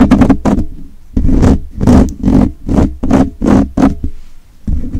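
Fingertips and short nails of both hands rapidly scratch a hollow, rounded metal wire-mesh microphone grille held close. It comes through as a quick series of rough, scraping bursts with a heavy, boomy low rumble and a hissy upper edge, separated by brief near-silent gaps.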